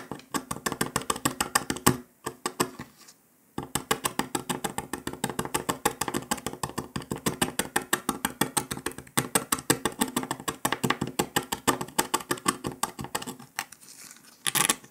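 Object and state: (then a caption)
Dalgona sugar candy being scraped. A metal needle scratches along the circle of a brittle brown dalgona honeycomb sugar candy disc resting on paper, chipping off small flakes. It makes a rapid, steady run of sharp, dry ticks and crackles, with a short pause near the start, a quieter stretch near the end, and a final brighter burst of scraping.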